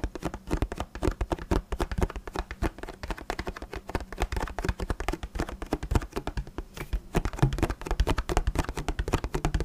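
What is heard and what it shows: Fingertips tap and scratch on an empty, hollow clear plastic water bottle with a paper label. A rapid, steady stream of soft, dull, hollow taps with very short decay sits mostly in the low range, mixed with light scratchy rustles over the plastic and label throughout.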